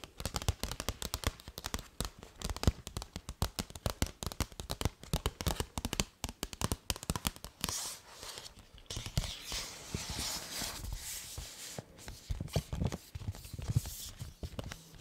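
Long nails tap rapidly and steadily on a hollow, medium blue paper gift bag with a peacock feather print, making dry, thumpy clicks with a low body. After about halfway, the tapping gives way to scratching across the paper, a brighter, continuous rustle broken by occasional sharper taps.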